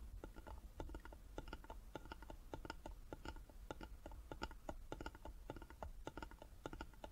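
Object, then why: Small carved wooden box tapped with fingertips and nails. Fingertips and nails tap on the sides of a small, closed, hollow carved wooden jewelry box resting on a table. The taps come quickly and irregularly as short, dry clicks that die away almost instantly. A steady low hum sits underneath.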